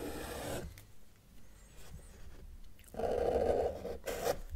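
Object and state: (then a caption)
Marker drawing on paper. A felt-tip marker held in the fingers is dragged across a flat white paper sheet resting on a table, drawing lines. Three rasping, scratchy strokes are heard: a short one at the start, then a quiet pause, then a longer, louder stroke and a brief final one.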